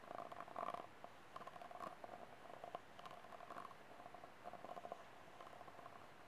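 Fingernails scratch across the ribs and tap the wall of a small, empty, hollow, ribbed white disposable plastic cup. Quick, quiet rasps and clicks carry a hollow ring near 700 Hz with a brighter overtone around 1 kHz. Each tap and scrape dies away almost at once.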